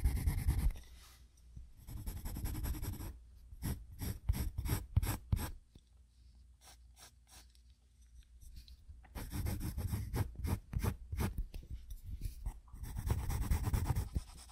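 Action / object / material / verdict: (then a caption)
scrape / graphite pencil on paper sketchbook / paper / none. A graphite pencil shades on a spiral-bound paper sketchbook resting on a wooden desk, making repeated short scratching strokes on the paper. Dense, rough scratching opens the clip, then separate quick strokes follow before a quiet pause in the middle. Steady bursts of scratchy shading resume and carry to the end.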